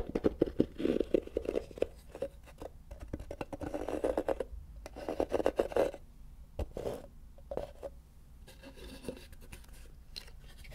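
A small, light-colored molded wooden block or box, likely hollow, is held above a microphone and tapped and scratched with the fingertips. Quick, dry taps mix with soft scratching bursts in a low-mid range, coming in clusters with short pauses. Each tap dies away almost instantly, leaving a quiet, close-up crackle.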